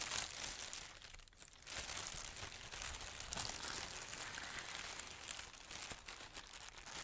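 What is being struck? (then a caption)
Thin plastic bag. Fingertips with painted nails press, rub and crumple a large, thin, crinkly pink plastic bag, hollow, loosely bunched and empty, lying on a white surface. A steady, bright crinkling and crackling runs through the whole clip, with a brief dip in loudness partway through before the rustling picks back up.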